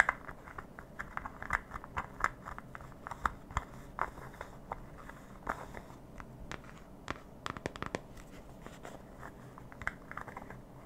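Long painted nails tap and scratch around the rim and side of a small white round plastic lidded cream jar held up close. The result is a quiet stream of short, dry clicks and crisp scratches, centered around 1.6 kHz, with a few sharper taps standing out and no ringing after each hit.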